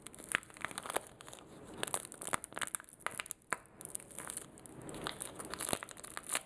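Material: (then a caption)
Plastic film. A small, flat, blue-and-white printed plastic sachet, sealed and filled with a sanitizing wipe, is held and squeezed between fingertips with short nails. It gives a dense run of bright, crisp crinkles and crumples with sharp, short transient snaps and almost no low end.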